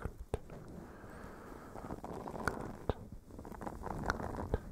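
A blue silicone face scrubber sponge with a bristle texture is scratched with fingernails on top of a fluffy microphone windscreen. A soft, muffled, low-heavy scratching rustle runs throughout, broken by several sharp clicks that stand out from it.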